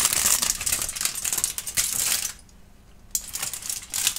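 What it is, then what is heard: Crinkled aluminum foil. A wrinkled, thin aluminum foil sheet is held in both hands, crinkled and rubbed between the fingertips, then spread flat. The result is a dense, bright crackling rustle that drops to near silence for a moment before the crinkling resumes.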